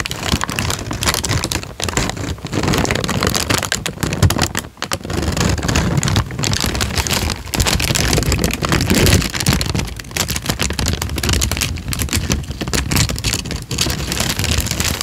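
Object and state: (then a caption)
Crinkled paper sheet. A thin light-brown paper sheet is bent, twisted and crinkled by hands, giving a dense, continuous crackling rustle. The sound spans low rumble to bright, high crackle, with brief dips near the 2 s, 4.8 s and 7.5 s marks.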